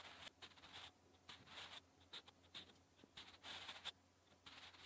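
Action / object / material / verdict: scrape / graphite pencil on paper notebook page / paper / none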